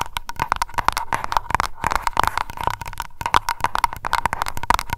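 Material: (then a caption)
Glass. Long nails tap rapidly on the glass bottom of a small wax-filled aroma candle jar labeled Lavender. The result is a quick, uneven stream of sharp, dry clicks, each with a short glassy ping around 940 Hz that dies away almost at once.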